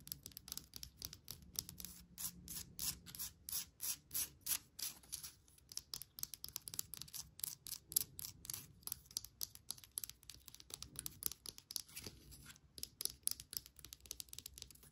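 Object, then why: Small wooden bark log planter. Long nails tap and scratch a small hollow wooden bark log planter holding an air plant. The result is a quiet, rapid, uneven stream of dry, bright clicks and scrapes that stop instantly with no ring, over a faint low hum.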